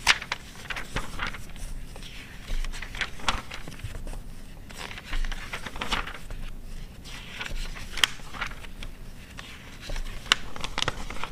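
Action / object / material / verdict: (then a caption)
scrape / glossy paper magazine / glossy paper / none. Long red-nailed fingers flip and smooth the pages of an open glossy paper car magazine from 2009. Paper rustles and scratches in crisp, bright bursts over a low, steady rumble. Sharp ticks punctuate the quieter smoothing between louder page turns.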